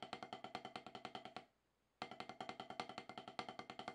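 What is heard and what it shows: Two wooden drumsticks tap rudiments on a solid, octagonal HQ rubber snare practice pad with a dark surface, played by a drummer getting back into practice after more than ten years away. Thirty-five quick, dry, woody taps with a pitch around 750 Hz and bright clicks come in a steady patter, broken by a half-second pause. Each tap dies almost instantly.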